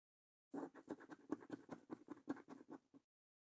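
A coin scratches the top winning symbols on a new, thin cardboard paper lottery scratch card. About 13 quick, dry scraping strokes come in a slightly uneven rhythm over two and a half seconds. Each scrape is short and rasping with a mid-range body and a faint bright hiss, then stops with no ring.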